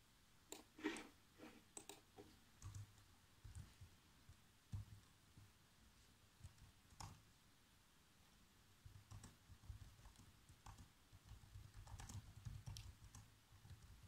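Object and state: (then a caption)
Plastic laptop keyboard. Fingertips tap the black plastic keys of a laptop keyboard in a loose, uneven typing rhythm. The result is quiet, soft clicks with dull low thuds and bright ticks at the attack, each dying away almost at once. Some taps come in brief clusters, separated by near-silent pauses.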